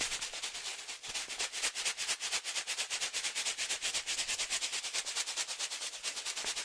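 A medium resealable green and yellow foil-lined plastic pouch filled with coffee is held in one hand and shaken vigorously. The result is a steady run of rapid, bright crinkling rustles with the coffee shifting inside, almost entirely high-pitched with no low end.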